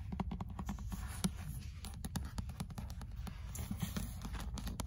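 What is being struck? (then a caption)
Paperback book with paper cover. Long acrylic nails tap and scratch the cream card-paper cover of an old paperback of "L'être et le néant," held in hand over its solid paper block. A rapid, uneven stream of short, dry clicks with almost no ring sits over a soft, low, papery rustle, with thin bright scratchy edges on the sharper taps.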